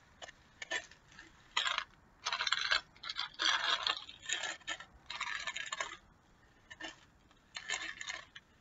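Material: Plastic.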